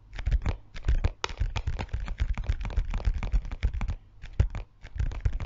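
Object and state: Clear plastic zip pouch.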